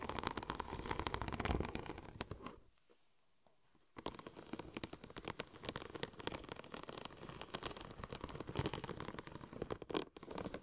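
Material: Vinyl.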